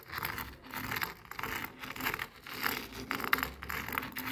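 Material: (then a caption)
Salt crystals. A jade face roller is rolled and scraped through a spread of coarse bath salt grains on a white and red plastic cutting board. The result is a dry, gritty scratching and crunching in uneven bursts. The sound is bright and crackly, with little low end.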